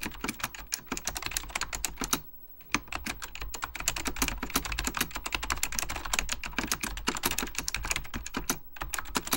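Fingertips of both hands type steadily on a full-size beige plastic Apple Extended Keyboard II with mechanical key switches, under purple lighting. Dense, crisp, bright clicks come in fast runs, each dying out almost instantly over a low background hum. Brief pauses fall around 2.5 s and again near 8.8 s.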